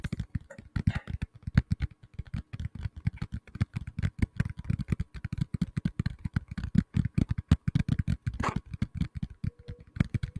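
A black tablet in a plastic case is tapped rapidly with the fingertips, producing a dense, uneven stream of soft, dull thuds. The taps are heavy in the low end with very little brightness and die away almost instantly.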